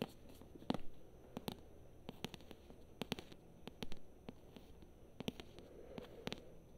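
Long nails tap and scratch the glossy paper cover and spine of a thick paperback book. Many quiet, sharp, dry clicks are scattered irregularly through the clip, with faint scratching between them over a low background rumble.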